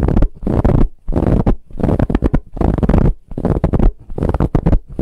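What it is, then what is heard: Ribbed fabric pillow being scratched. Long nails scratch quickly across a large, soft brown ribbed fabric pillow. The result is repeated bursts of dense, low, rumbling scratching with brief pauses between strokes.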